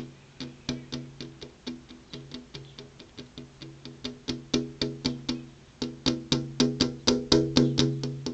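Long purple-painted fingernails tap rapidly on a flat glass window pane with an insect screen behind it. About 28 quick, bright clicks sound at roughly four per second, each with a short ringing tone that fades fast, and the taps grow louder toward the end.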